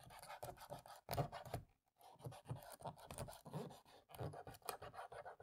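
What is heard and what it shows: A cotton swab rubs the gaps between black plastic laptop keys while a long-nailed hand rests on the palm rest. Soft, quiet scratchy rubbing comes in quick repeated strokes with a low, dull body, pausing briefly just before the two-second mark before continuing.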